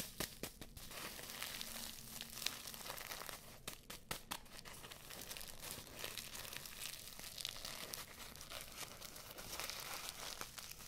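A small filled paper tea bag with a string and red tag is rubbed and crinkled with fingertips and long nails close to the microphones. The result is a steady, quiet stream of dry, bright crinkling and scratchy rustles, with light crunches throughout and little low end.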